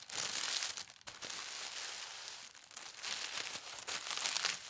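A thin white tissue paper sheet, folded flat on a table, is rubbed and smoothed by flat hands with long red nails. The result is a steady, bright, airy crinkling and rustling with almost no low end, dipping briefly around one second and again near two and a half seconds before swelling back.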